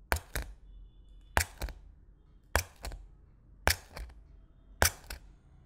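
A thin white stick repeatedly pokes through clear plastic cling film stretched over an empty glass bowl, the film already punctured and wrinkled. Five pairs of sharp, bright crackling pops are heard, each strong poke followed by a softer one, with low thumps and very short ring. Quiet, faint noise fills the gaps between pairs.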